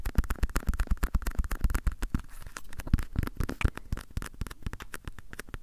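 Fingertips and nails scratch and tap the printed cat-pattern surface of a small, hollow gamaguchi-style coin purse of fabric or vinyl with a metal clasp frame, held close to the recorder. The result is a quick, irregular run of dry taps and scratchy rustles with a low, hollow thump under each hit and no ring afterward.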